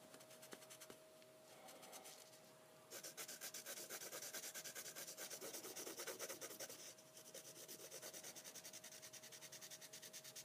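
A graphite pencil held at a low angle rubs repeatedly across a flat sheet of heavyweight sketching paper on a wooden desk for shading. Rapid, scratchy, bright rubbing strokes start soft, grow louder after about three seconds, then ease slightly near seven seconds, with a faint steady tone underneath.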